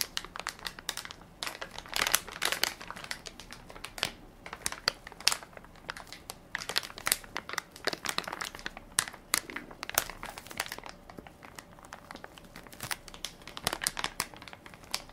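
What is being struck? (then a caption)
Plastic film baby wipes soft pack. A hand-sized Equate baby wipes soft pack, made of crinkly plastic film with a white plastic lid and full of wipes, is held in one palm while fingertips and nails press and crinkle the film. The result is dense, bright crinkling and crackling in quick bursts, with almost no low end.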